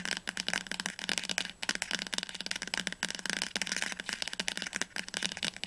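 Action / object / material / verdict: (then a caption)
tap / paperback book spine / paper / none. The spine of a teal paperback book, held upright, is tapped quickly with long nails and fingertips. A rapid, uneven run of bright, dry clicks and light taps follows, each cut off almost instantly, with crisp high end and almost no low thump.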